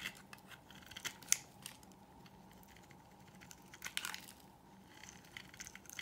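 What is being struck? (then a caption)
Bar of soap cut with a knife blade. A solid, dry white oval bar of soap held in the hand is shaved with a utility knife blade, peeling off curling shavings. Quiet, bright, crisp scraping strokes are heard, with a few sharper clicks as the blade bites into the soap and breaks free.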